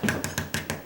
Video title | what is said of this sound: Don't Paint Doors Until You Do This | it's a metal clad door, and it's, hear that? It's kind of like a heavy plastic or metal something.